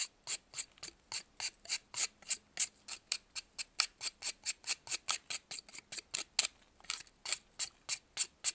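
A metal knife scrapes a solid white pressed baking soda block held in blue-gloved hands, shedding shavings. About 29 short, crisp, bright scraping strokes follow in a quick, slightly uneven rhythm, each dry and gritty with almost no low end and no ring.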